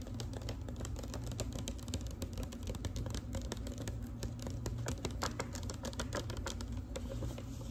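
Long pink nails tap quickly across a large, thin, flat manila paper envelope with a clasp, held in the hand. The taps come as a rapid, uneven run of light, crisp papery clicks over a steady low hum.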